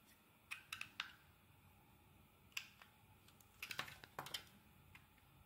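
A steel utility blade carves and shaves chunks from a solid yellow bar of soap held in hand. The result is a series of short, crisp, bright scraping clicks, some in quick clusters, with very little low end and almost no ring after each cut.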